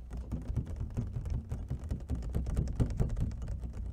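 Long fingernails of both hands tap rapidly on the patterned lid of an empty, hollow clear plastic clamshell food container. The result is a dense, steady patter of short, hollow clicks with a low, thuddy body and almost no ring after each tap.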